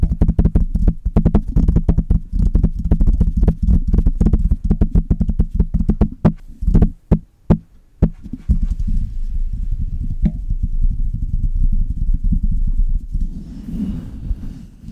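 Long red nails tap and scratch the metal mesh grille on both sides of a Blue Yeti metal USB condenser microphone. Rapid, dense, bass-heavy thumping taps fill the first half, thinning into a few isolated knocks. They then give way to a softer, continuous scratching rumble that turns brighter and raspier near the end.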